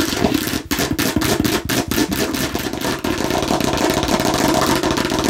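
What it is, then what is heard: Hollow plastic watermelon-slice container. Long fingernails on both hands tap and scratch rapidly across a hollow, hard plastic watermelon-slice container. The result is a dense, continuous clatter of sharp clicks and scraping, with a hollow mid-pitched ring around 300 Hz beneath bright, crisp high-end texture.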